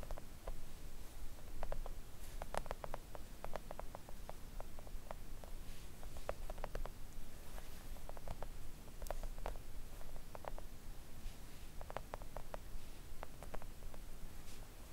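Long acrylic nails on both hands tap gently on a thin, solid, flat pink silicone nail art mat lying on a table. The result is a scattered run of soft, dry clicks that stop almost instantly, centered around 600 Hz with faint bright edges, over a steady low background rumble.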